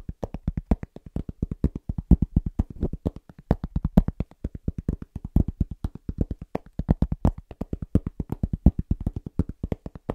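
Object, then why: Cork trivet. A large, round, flat, solid cork trivet is tapped very fast with the fingertips of both hands. The result is a rapid, slightly uneven stream of short, dull, low thuds with almost no ring and very little high end.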